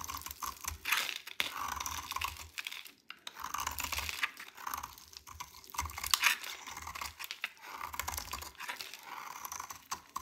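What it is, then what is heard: Dry soap bar. A dry, solid cream-white JO soap bar with pink specks inside is held in the hand and shaved and cut with a metal utility knife blade. The blade makes dense, crisp, bright scraping and crumbly crunching strokes that come in uneven bursts across the clip, with a few sharper cracks standing out.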